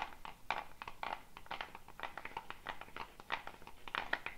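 A hollow dried gourd shaker with a net of wooden beads is held by the neck above the head and shaken, producing a steady, clear rattling of the beads. The sound is a dense stream of short, dry clicks centered around 1 to 2 kHz, with quick bursts that die away almost instantly.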